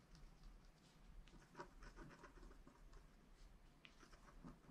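A wooden stylus scratches lines into the black coating of a small, flat, wax-coated scratch art card lying on a table and held down by one hand. Quiet, dry scraping strokes come in short bursts over a steady low hum.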